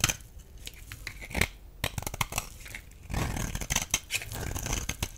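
A blade cuts into a solid rectangular blue bar of dry soap held in hand, cracking and scraping off crumbly chunks. Sharp, bright snaps and crisp tearing, crumbling scrapes come in quick bursts, with a denser stretch of grinding scrape in the second half.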